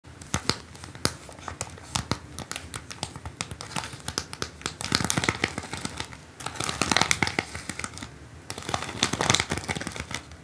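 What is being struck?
Plastic rhinestone stickers on a paper card.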